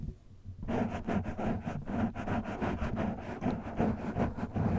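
A black, soft and porous foam windscreen on a microphone is scratched with the fingertips and short nails of one hand. After a brief quiet start, a steady run of rough, muffled scratching strokes follows with a heavy low rumble and little brightness.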